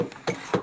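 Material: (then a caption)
Wood. Three knocks on a large wooden piece of a structure buried in the ice give short, hollow mid-pitched thuds centered around 490 Hz that die away quickly. The wood sounds hollow.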